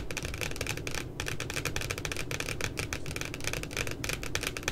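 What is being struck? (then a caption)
Laminated cardboard notebook cover. Long glitter nails tap rapidly on the glossy laminated cardboard puppy cover of a pink spiral notebook lying flat. A steady stream of quick, dry, clicky taps with bright edges dies away almost instantly over a low, rumbling undertone. The tapping keeps an even level throughout.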